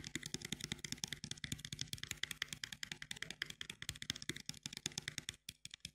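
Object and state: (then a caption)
Cardboard gum box. A small printed cardboard box of sugar-free chewing gum (10 pieces), held closed in both hands, is tapped rapidly with long fingernails across its front face. The taps are quick, irregular, crisp clicks with a bright, dry edge, a faint hollow low thump beneath, and no ring after each strike.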